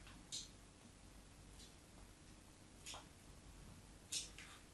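A metal craft knife scores parallel lines into the surface of a solid white bar of soap held on a table. Four short, bright scratches stand out over a quiet low background hum.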